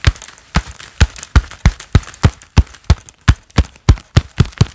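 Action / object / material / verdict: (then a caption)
strike / leather gloves on clapping hands / leather / none. Hands wearing a pair of black leather gloves clap together repeatedly, producing about fifteen soft, muffled claps with a deep low thump and a brief bright leathery slap. The claps fall at a fairly steady pace with little ring, and faint rustling between them.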